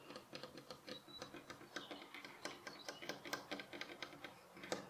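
Fingernails tap quickly on the flat face of a solid light pine wooden bed frame rail beside a fabric pillow, which is not touched. A fast, uneven stream of about 27 quiet, dry clicks follows, each a short bright tick with a faint woody knock around the middle and almost no low end.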